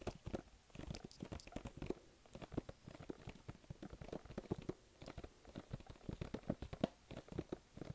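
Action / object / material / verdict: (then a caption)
tap / glossy printed cardboard box / cardboard / none. Fingertips tap and stick-pull on the surface of a hollow, glossy pink printed cardboard box held close to the body. The result is a fast, irregular string of soft, dry taps and sticky little crackles. Each is very short and mostly low, with brief bright ticks.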